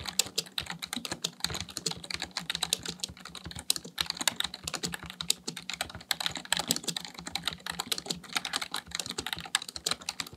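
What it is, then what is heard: Plastic computer keyboard. Fingertips type continuously on a full-size black plastic computer keyboard, producing a rapid, steady stream of crisp, bright key clicks with very short decay. A faint steady low hum sits underneath the quick, uneven tapping throughout.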